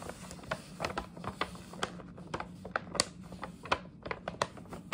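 Long nails tap and scratch the side of a hollow printed paper gift bag held in both hands. About sixteen sharp, dry, bright clicks and crinkly scrapes sound in an irregular stream, each dying away almost instantly, over a faint steady low hum.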